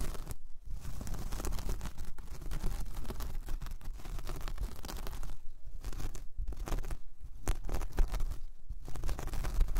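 Long painted nails scratch across a large, flat, solid round coaster of braided jute or straw, making a steady, dry, rasping scratch. The texture stays dense and even throughout, broken by a few brief near-silent gaps where the nails lift.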